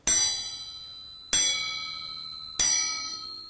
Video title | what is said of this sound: Sai History and Selection | If you tap, you can hear a very keen noise.